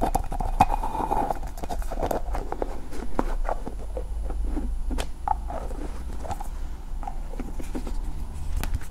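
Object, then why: Small two-piece plastic ball. A small green hollow plastic ball made of two halves is tapped and scratched with long nails while being turned in the hands. Quick, dry taps with a hollow mid-pitched knock die away almost at once, mixed with scratchy rustling over a steady low rumble.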